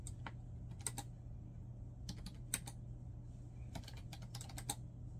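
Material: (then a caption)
Plastic. Both hands type with their fingertips on a black plastic laptop keyboard resting on a bed. Steady, bright, short key taps come in quick clusters over a constant low hum.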